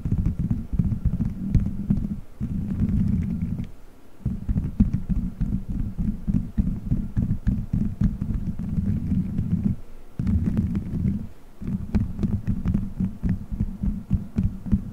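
Fingertips squeeze, rub and scratch colorful gelatin gummy bears stuck all over a solid, dome-shaped microphone head. The result is a dense, muffled stream of low squishy thumps and rubbing with faint sticky crackles, broken by a few brief pauses.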